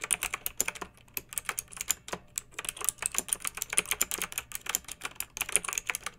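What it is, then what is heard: Plastic mechanical keyboard. Long-nailed fingertips type steadily on a pink mechanical keyboard with round retro plastic keycaps and blue backlight, resting on a fluffy rug. The result is a rapid, uneven stream of bright, crisp plastic clicks and clacks, each dying away almost instantly, with very little low end.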